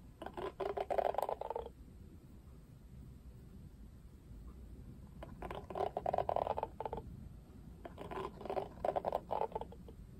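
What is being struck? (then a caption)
Plastic cushion hairbrush with bristles. Fingertips run and flick across the dense black bristles with pink ball tips of an oval hairbrush with a bright pink plastic rim and black cushion. The result is three bursts of rapid, dry, mid-pitched ticking and scratching, separated by quiet pauses with a faint low hum.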